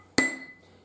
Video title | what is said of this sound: Lingots et matières d'oeuvre | lorsque l'on tape ici sur cet acier, ça résonne, ça fait un son très aigu